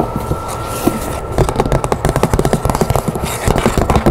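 Long nails tap and scratch the top and side of a large, hollow, rectangular patterned cardboard box with a metallic print and its lid on. A soft scratchy rustle opens, then a quick run of dull, low, hollow taps follows with short gaps, over a faint steady tone.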